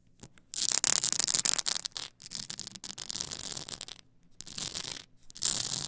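Long acrylic nails scratch the edges of a tall stack of blank polycarbonate CD-R discs on a plastic spindle. The result is bright, dense, raspy scratching in several runs separated by brief pauses, with almost no low end.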